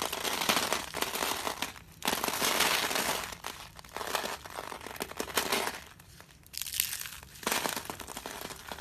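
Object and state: Dry soap flakes.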